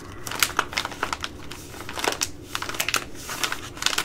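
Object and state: Plastic rice pouch.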